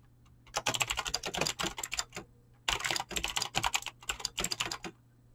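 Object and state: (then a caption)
Mechanical keyboard with PBT plastic keycaps. Fingertips type fast on a mechanical keyboard with clicky green switches and PBT plastic keycaps. Two dense bursts of sharp, bright clicks are split by a brief pause. Each click is crisp and short, with almost no low end or ring.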